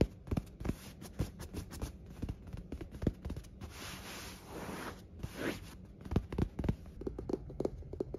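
Fingertips scratch, rub and bunch a white cotton bed sheet lying flat on a hotel bed. Quiet, dry scratching ticks and soft fabric rustles alternate, with a longer, steadier rustle of bunched cloth in the middle before short scratches return. The sound is low and muffled overall, with only brief bright edges on each scratch.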